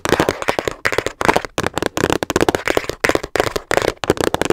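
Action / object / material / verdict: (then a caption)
tap / hard plastic storage case / plastic / none. Fingernails rapidly tap the sides of a small, hollow, hard teal plastic storage case held in both hands. About two dozen sharp, dry clicks come in quick bursts separated by brief pauses, each with a hollow midrange knock and almost no ring.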